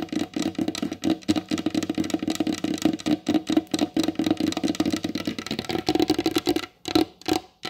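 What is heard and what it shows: Long blue acrylic nails on both hands tap quickly across the glossy varnished top of a large, solid wooden table. The result is a rapid, dense patter of short, dry clicks with a hollow mid tone around 300 Hz. Each tap dies away almost instantly, and there are brief pauses near the end.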